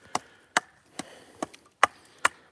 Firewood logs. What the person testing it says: you guys can hear it's Hollow nice and dry all been seasoning all over winter